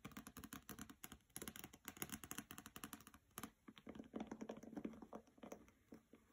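Fingernails tap rapidly on the cover of the hardcover novel "Graceling," which has a glossy paper dust jacket and rests on a carpet, then move to tapping along its side edges. The result is a fast, dense run of short, dry clicks with a low hollow body and a bright tick on top. After a brief pause partway through, the tapping resumes with a slightly softer, more muffled tone.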